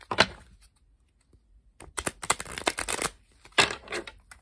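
A blue-backed coated paper playing card deck is picked up from a wooden table, and long pink nails press and square it with a sharp tap and soft fading rustle. The cards are then bent and riffle-shuffled in both hands, giving a dense, bright, crackling flutter of quick paper snaps. A second shorter riffle burst follows before the sound thins out.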